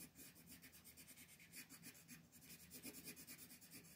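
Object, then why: Colored pencil rubbing on a thin paper sheet over a wooden table. A teal colored pencil rubs and scratches over a thin mandala paper coloring sheet resting on a wooden table while filling in leaves. Quick, steady back-and-forth strokes make a soft, bright, raspy scratching with a faint low body under it.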